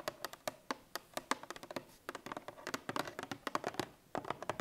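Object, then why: Cardboard milk carton. Long painted nails tap and scratch the top face and edges of a 1 L Tetra Pak milk carton lying on its side, likely full. A quick, irregular run of short, dry clicks with faint scratchy texture sounds, each dying away almost instantly, with brief pauses between bursts.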